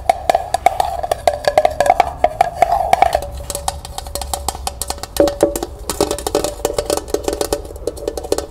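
Long nails rapidly tap the hollow body and bottom of a small, empty, striped, glossy tin pail held sideways, with a price label on its bottom. The result is a fast stream of short, dry clicks over a faint hollow metallic ring that shifts from a higher mid tone to a slightly lower one partway through.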